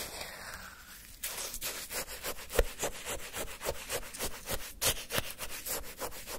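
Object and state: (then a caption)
Frozen orange sherbet scraped with a wooden stick. A wooden stick scrapes and churns the icy granules of frozen orange shaved-ice sherbet in a paper cup. After about a second of near-quiet, a steady run of crisp, bright, gritty crunches follows at roughly three to four strokes per second.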